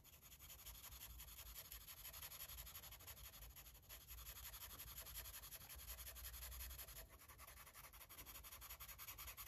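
A red marker tip rubs quickly back and forth across a paper coloring book page resting on a table, filling in an area. It makes a steady, soft scratchy rubbing with bright hiss over a faint low rumble, staying quiet and even throughout.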